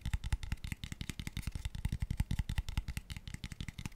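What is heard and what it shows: A small, empty, hollow, open-ended light wooden square tube box in pale wood is held near the mic and tapped fast with fingertips and nails. The result is a rapid, uneven run of dry, short knocks, with deep hollow thuds and light clicky tops that stop dead with no ring.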